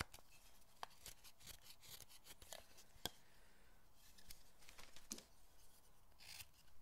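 A small knife scrapes and pares the rounded knob end of a solid hinoki cypress carving block held in the fingers. Quiet, dry shaving strokes come as short bright rasps, with a few sharper ticks standing out against a soft low hiss.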